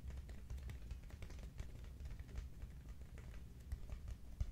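A large, hollow, cylindrical Quaker Oats cardboard canister is held and tilted in both hands while being tapped with the fingertips. It gives a quick, irregular stream of soft, deep, hollow thuds around 59 Hz, with faint clicky edges. Each thud dies almost instantly.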